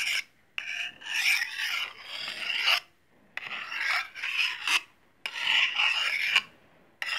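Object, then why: Small steel knife blade on a steel honing rod. A small solid steel knife blade is scraped along a steel honing rod in several long strokes separated by brief pauses. Each stroke makes a bright, rasping metallic hiss that rises and falls in intensity, with almost no low end.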